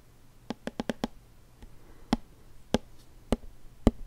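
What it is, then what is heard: Plastic lotion bottle tapped. A hollow white plastic lotion bottle with a label, held sideways, is tapped with fingertips and nails. Nine short, dry taps with a dull low-mid thud and almost no ring: a quick run of five, then four slower, evenly spaced taps.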